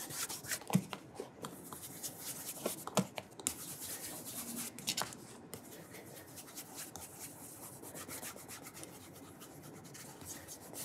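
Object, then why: Leather dress shoe. A burgundy leather cap-toe dress shoe, held on its side with its studded rubber sole showing, has its toe cap rubbed in small circles with cloth-wrapped fingertips to polish it. Soft, bright, uneven cloth-on-leather swishing continues throughout, with a few sharper scuffs in the first five seconds before the rubbing settles into a quieter, steady hiss.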